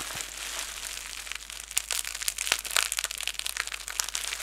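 A fist-sized ball of clear plastic bubble wrap is cupped in both hands, squeezed and pressed by thumbs with painted nails. It makes a continuous bright, high crinkling, with sharp, brief crackling snaps scattered throughout and almost no low end.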